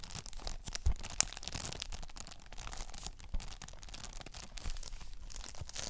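A thin, hollow plastic PS5 game case, still in its cellophane shrink wrap, is held up and scratched and tapped with long nails. Quick dry taps and scratches mix with a steady crinkle of the film, giving a bright, papery texture over a soft low thump.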